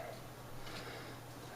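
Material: Nothing is struck.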